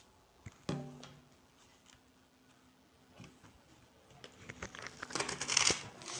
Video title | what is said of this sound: Siyez unuyla hızlı pratik Ekmek Yapımı | bu sesi duyuyor musunuz arkadaşlar üstü çıtır çıtır